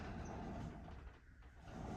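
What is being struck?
Nothing is struck.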